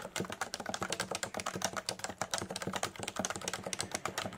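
Fingertips of both hands type steadily on a Leopold FC980C full-size electrostatic capacitive keyboard with a solid body and beige and grey plastic keycaps, resting on a desk mat. A fast, continuous run of short, dry plastic clacks and taps is heard, each dying away almost instantly, with a bright top and little low end.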